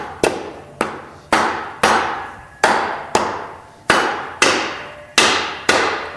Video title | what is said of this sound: 350 part 3 Drum assembly | you can hear that it's down